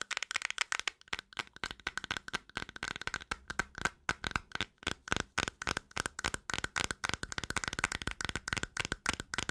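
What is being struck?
Small plastic cream jar.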